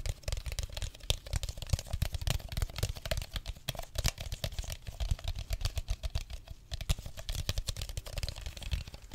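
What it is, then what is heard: Plastic bottle. An empty clear plastic drink bottle is tapped and crinkled with fingertips and nails, making a steady stream of rapid, dry clicks and taps over soft crackling. Each tap has a dull, thumpy low body and a bright edge, dying away at once with no ring.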